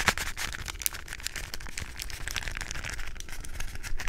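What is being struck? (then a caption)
Small plastic puzzle cube tapped and scratched with fingernails. A small hollow plastic 3x3 Rubik's cube with coloured stickers is held in the hands and tapped, scratched and twisted with long acrylic nails. Dense, rapid clicks and scratchy crinkling with bright, crisp edges sit over a low rumble for about four seconds.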